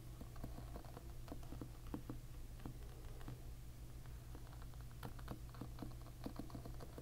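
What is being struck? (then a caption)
Plastic-pin hairbrush. A fingernail flicks the individual ball-tipped brown plastic pins of a plastic-pin hairbrush held bristles-up. Quiet, short, dry clicks and ticks patter irregularly over a steady low hum, each dying away almost instantly.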